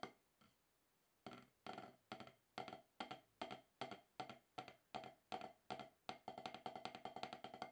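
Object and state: Rubber drum practice pad.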